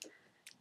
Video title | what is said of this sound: Foundation Review No.1: Collection 2000 Perfect Finish | it does sound like water and it's not a very thick consistency